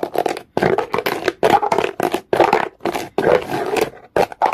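A comb is scraped quickly across the surface of a solid, dark, rough rock. It makes a series of fast, gritty scraping bursts separated by brief silences. The sound is centred in the midrange with a raspy, bristly texture.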